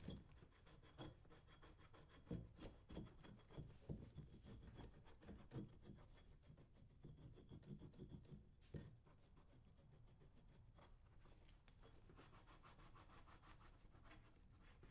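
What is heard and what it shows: A hand-held metal scraper is pulled firmly along the leather upper of a brown leather lace-up work boot, worn on the right foot, while the other hand holds the boot steady. The result is a quiet, continuous run of rough, rasping scrape strokes, mostly low and muffled in tone, with a few louder strokes near the start and a steadier, softer scraping toward the end.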